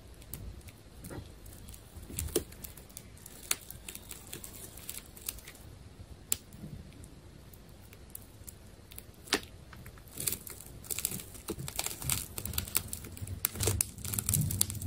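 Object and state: Plastic tape ball being cut.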